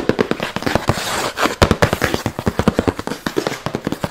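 Long nails and fingertips tap and scratch fast on the printed surface of a white Kenzo cardboard shoe box lid held up by hand, the hollow, flat box answering each strike with a short, dry, papery knock. A quick run of sharp taps gives way near the one-second mark to a brief stretch of continuous scratching, then the rapid tapping resumes to the end.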